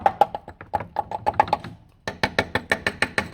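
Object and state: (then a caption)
Solid steel car sill. A section of steel sill on a Toyota Auris SR180 is knocked with a rapid series of about nineteen sharp, dry taps. The taps ring near 800 Hz at first, then come brighter after a short pause. The sill sounds solid enough.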